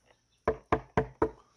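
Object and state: Stiff, solid carbon fibre paddleboard.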